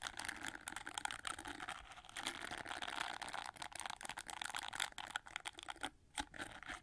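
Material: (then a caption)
Plastic. Fingertips and nails rub and scratch the dense red plastic bristles of an oval, gold-framed plastic hair brush. The result is a steady, bright, crackly scratching with rapid ticking clicks and almost no low end, briefly dropping away near the end before resuming.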